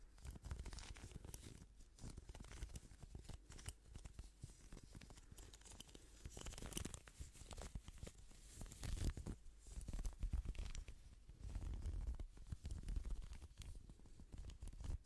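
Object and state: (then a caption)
Plastic hairbrush. Gloved fingertips scratch and strum the bristles of a hand-sized pink plastic hairbrush with a hollow handle, and rub the brush body close to a microphone. The result is a dense, continuous run of quick crackling, tearing-like scrapes and rapid ticks, heavy in low-end rumble. Louder bursts swell around the middle and later parts of the clip.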